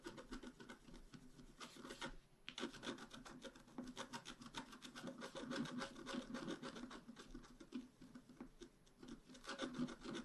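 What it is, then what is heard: Coated scratch art card being scratched. A wooden stylus makes dense, short scratches across the blossoms on a flat, black-coated scratch art card about A4 in size. The result is a rapid, dry, rasping scratch that repeats steadily, with a brief lull just after two seconds. The tone is fairly quiet and mid-toned, with a bright papery edge.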